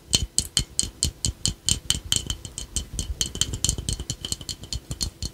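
A small, hollow, glazed ladybug piggy bank, apparently ceramic, with a yellow face and red shell, is held in both hands and tapped with fingertips and short nails on its face and shell. The taps come quickly and unevenly as bright, dry clicks with a brief glassy ring and soft low thumps beneath. The taps start out distinct and grow denser and more overlapping toward the end.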